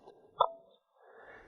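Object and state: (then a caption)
Non-ringing solid rock. A single strike on a solid rock next to a ringing stone gives a short, dull knock that dies away almost at once. Unlike its bell-sounding neighbour, this rock produces no ring.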